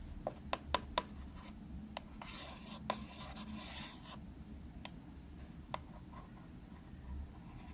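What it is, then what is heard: Plastic box tapped and scratched. The tip of a green felt-tip marker taps and scratches across the lid of a small, hollow, translucent plastic box of green tea floss picks held in one hand. Sharp, clicky plastic taps ring out around 1 kHz, mostly in a quick cluster at the start and then more sparsely. Between them comes a soft, bright scratching rasp over a low background rumble.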